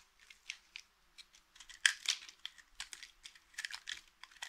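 A small, solid, mint-green dry soap bar held in the hand is scraped and carved with the metal blade of a green utility knife, shaving off flakes. About 13 short, dry, crisp scraping crunches are heard at an irregular pace, bright and hissy with almost no low end, and each cuts off almost instantly.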